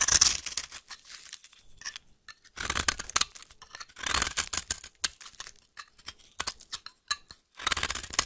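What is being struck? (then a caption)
Bar of soap scraped by a metal blade. A metal blade shaves and scrapes the end of a solid beige-yellow rectangular bar of vintage soap held in the hand, breaking off crumbly flakes. The sound is a series of dry, bright scraping and crackling strokes in bursts, with short pauses between them and almost no low end.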